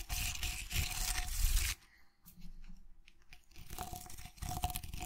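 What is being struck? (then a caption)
Vase wrapped in jute twine. Fingertips and nails scratch the rough jute twine wrapped around a tall vase holding artificial flowers, held in one hand. A dense, crunchy, tearing scrape with a deep low rumble and a bright hiss runs for nearly two seconds, then drops to faint rustles. The scratching builds back up for the last second and a half.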